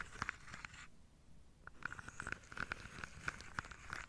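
Long nails and fingertips tap and scratch across the tops of wooden dominoes packed into a carved wooden tray. Quiet, dry clicks with a bright, woody tick sound in irregular bursts over a soft scratchy rustle, with a brief lull near the one-second mark before the tapping picks up again.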